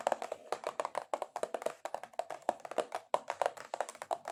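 Long acrylic nails tap aggressively on a cardboard box in rapid, uneven bursts. Each short, dry tap is hollow and papery, carrying a mid-range tone with little low end and almost no ring.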